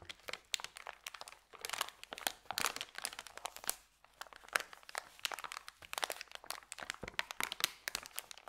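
Fingers tightly roll up a thin, empty white paper sandwich bag. Dense, bright crinkling and crackling runs throughout, with little low end and a brief lull around the middle.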